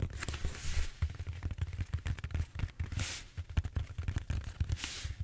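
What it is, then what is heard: Foam roller, scratched. Fingertips and short nails scratch and rub the textured surface of a large, solid purple styrofoam foam roller held horizontally. Dense, short, dull taps and rubbing thumps dominate the low end, broken by a few longer bursts of bright, airy scratching hiss.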